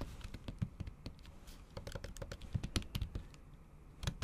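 Fast, repeated taps from the tips of long acrylic nails typing on a MacBook keyboard covered by a thin pink patterned plastic/silicone cover over solid keys. About twenty short, dry clicks and thuds come in an uneven, rapid patter, with the weight mostly low and each tap dying away almost instantly.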